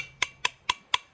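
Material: Steel.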